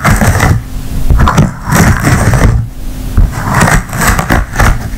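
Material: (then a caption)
Silicone. An empty blue silicone ice cube tray is bent, then tapped and scratched across its hollow cells with long nails. The result is a dense run of dull, low, rubbery taps and scratchy rustles with brief bright clicks, each sound dying away quickly.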